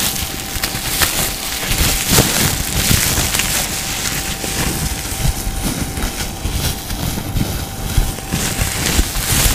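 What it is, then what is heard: Clear plastic wrapping being crinkled. A crumpled, hand-sized piece of clear, crinkly plastic packaging, thin and hollow, is held in both hands and squeezed and crinkled with the fingertips in front of the microphone. It makes a continuous, dense crackle of bright, sharp crinkles over a low, rumbling handling noise, with a faint steady tone underneath. The level stays fairly even throughout.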